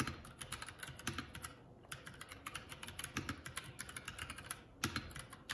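Fingertips of both hands type continuously on a 75% mechanical keyboard, a Keycool K84 with plastic keycaps. Rapid, bright plastic key clacks patter in an irregular rhythm with brief pauses, each hit short and dry over a soft low thud.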